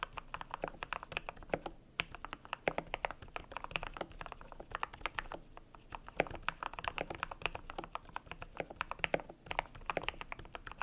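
A cream compact mechanical keyboard with PBT plastic keycaps is typed on steadily with the fingertips. The result is a dense run of short, crisp clacks with a low-mid thock and a bright click on top, each dying almost at once.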